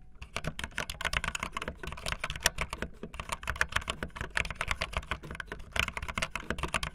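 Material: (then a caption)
Plastic. Fingertips with long nails type fast on a backlit optical linear plastic mechanical keyboard with white and blue plastic keycaps. A rapid, continuous stream of short, bright plastic clacks rides over a soft low thump from each keystroke, every key dying away almost instantly.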